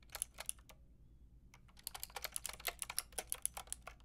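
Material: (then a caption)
Plastic. Fingertips and long nails type on a full pink, grey and white plastic mechanical keyboard with round plastic keycaps. About twenty quick, bright clicks come in an uneven rhythm, with a short pause early on before the typing picks up again, each click sharp and dying out at once.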